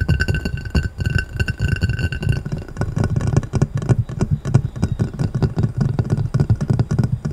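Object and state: Glass plate.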